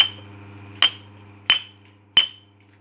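A new two-sided knife sharpening stone is struck four times, each tap giving a clear, bright ring like steel at about 3.1 kHz that fades quickly, with a faint low hum underneath. The clean ring rather than a dull click marks the stone as genuine.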